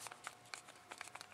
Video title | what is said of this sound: Custom Kydex Izula Sheath by Regalia Innovations | i can force a little bit of rattle you know i can feel a little bit of movement side to side and up and down